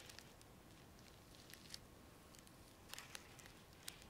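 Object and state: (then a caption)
Sequin-covered pad tapped with nails. Long nails scratch and tap the plastic sequin surface of a small round sequin-covered disc held in both hands. A soft, steady rustling scratch runs throughout, broken by sharp, bright clicks and ticks that die away almost instantly.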